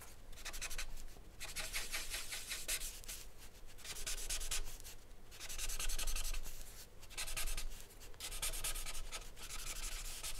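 A thick, dark charcoal stick is rubbed firmly across a flat sheet of white drawing paper bearing a charcoal portrait, resting on a wooden desk. The strokes make a bright, dry, sanding-like scratch in repeated bursts separated by short pauses, over a faint low hum.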